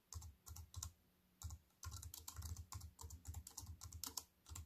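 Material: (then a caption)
Plastic. Fingertips with white-painted nails type fast on a slim wireless keyboard with black plastic keys in a grey metal-look frame, lying on a wooden table. Quick bursts of key taps pair a soft low thud with a bright plastic click, separated by short pauses. Each tap dies away almost at once.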